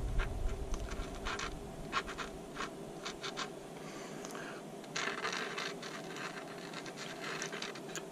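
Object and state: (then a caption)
Polymer rifle magazine being written on. A white paint-marker tip is rubbed and scratched across the side of a hand-sized, hollow, black polymer PMAG-style rifle magazine with a textured grip panel, held in one hand, to write a number on it. Quick, irregular dry scratching strokes come in short bright bursts over a steady low hum, with no ring after each stroke.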